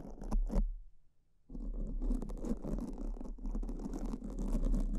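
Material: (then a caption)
Foam. Two black soft porous foam microphone windscreens are scratched and brushed with pink silicone spoolie brushes held in both hands, one brush in each. Soft, dense bristly scratching rustles with a heavy low rumble, starting with a few quick strokes, pausing briefly, then continuing steadily to the end.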